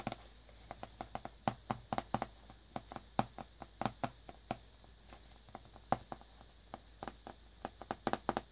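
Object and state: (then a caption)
Cellophane-wrapped cardboard box. A small black cardboard earbuds box in clear cellophane wrap is held in the hands and tapped and scratched with fingertips and nails. The result is a quick, uneven series of short, dry taps with a hollow midrange tone near 780 Hz, separated by quiet crinkly scratching. Each tap dies away almost instantly.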